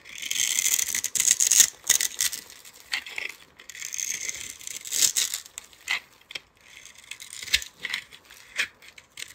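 A palm-sized solid teal soap bar with a glittery purple coating is held in one hand and scraped and carved with a metal utility-knife blade, shedding curls and flakes. Bright, dry scraping and crackling rasps come in irregular bursts of strokes with short pauses between them, and almost no low-end body.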